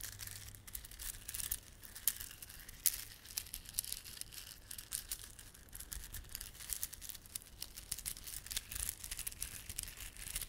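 Fingertips rub and squeeze a small clump of plastic garland held in both palms, with glossy dark blue and silver solid plastic beads and red spiky plastic fringe. The result is soft, continuous crinkling, bright and high, broken by dense, quick clicks and a few sharper ticks. A faint low hum sits underneath.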